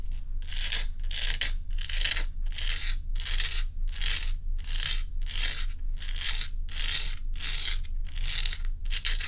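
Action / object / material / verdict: scrape / large ice block / ice / none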